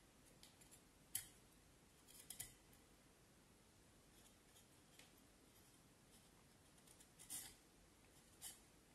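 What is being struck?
Vine wood stick and knife blade.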